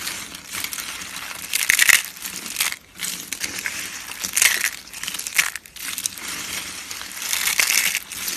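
A pile of thin, hollow, multicolored dry soap shavings curled into rolls is crushed and crumbled between fingertips and palms by hands with painted nails. The sound is a steady, bright, brittle crunching and crackling with no low end, swelling into louder bursts of dense crackle around 2, 4.5, 5.5 and 7.5 seconds, separated by brief quiet dips.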